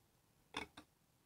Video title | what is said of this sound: LTO Driver's License Fake (mats mix 2) | medyo may tunog siya eh. Parang malutong siya. Ayun, parang nakita nyo, parang matigas na plastic.